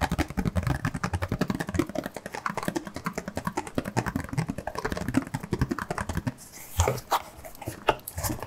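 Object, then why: Cardboard glove box. Fingertips and nails tap and scratch the surface of a printed, mostly hollow cardboard box of nitrile gloves with an open dispenser slot, held in both hands. Rapid, dull, hollow taps with a soft low thump run for about six seconds, each dying away almost at once. The tapping then gives way to a quieter, brighter scratching rustle broken by a few sharper knocks.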